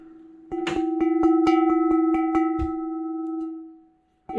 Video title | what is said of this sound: Abandoned Storage Locker Mystery Black Box | It vibrates. Yeah, it vibrates.